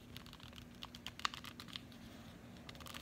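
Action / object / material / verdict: tap / cardboard chocolate bar box / cardboard / none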